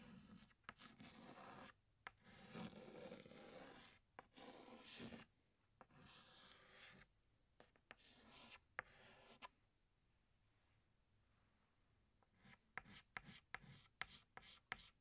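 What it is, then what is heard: Chalk stick on blackboard. A yellow chalk stick held in the fingertips draws a second flower on a flat black chalkboard with rubbing strokes. Long, bright, rasping scrapes come in bursts for the first nine seconds, followed by a quiet pause. The clip ends with a quick run of short, sharp chalk ticks.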